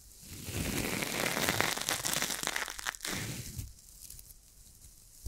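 A small, hand-sized ball of coiled stainless steel wire scrubber, airy and springy, is held in one hand near the microphone without touching it and squeezed and crunched with fingertips and long acrylic nails. A dense, bright crinkling crunch swells over the first few seconds, breaks briefly, then surges again before thinning into a quiet, fizzing crackle. A small snap comes at the very end.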